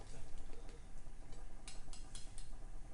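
A freshly fried corned beef and cabbage egg roll is tapped on its fried wrapper right after being cut, giving a series of short, dry, crisp ticks over a low background rumble. The taps sound crunchy, showing the wrapper is crisp.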